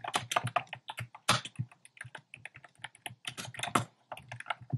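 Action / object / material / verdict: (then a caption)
tap / plastic mechanical keyboard / plastic / none. Fingertips type steadily on a compact plastic mechanical keyboard with a black plastic case and round pastel plastic keycaps. About two dozen quick keystrokes are heard, each a short, crisp clack with a low thock under a bright click that dies away almost instantly. The rhythm comes in uneven bursts with brief pauses between them.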